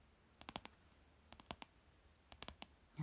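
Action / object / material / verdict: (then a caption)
tap / thin plastic card / plastic / none. Fingernails tap and scratch the surface of a thin green plastic store loyalty card lying on fabric, held by one hand. The result is three quick bursts of sharp, dry clicks that die away almost at once, with near-silence between them.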